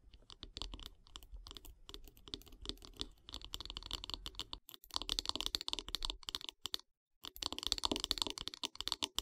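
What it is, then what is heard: Wooden brush handle tapped and scratched with nails. Long nails tap and scratch along the solid light-wood handle of a bath brush. Quick, dry, bright clicks and brushing scrapes come in dense, uneven bursts with a faint low rumble underneath. There is a brief silent pause just before the tapping resumes near the end.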